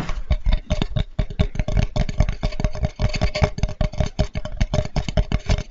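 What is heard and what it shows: A flat, light, solid wooden cutting board with a handle is held close and tapped and scratched with fingertips and nails. The result is a rapid, continuous run of soft, low, hollow knocks mixed with light scratchy texture, each tap dying away almost at once.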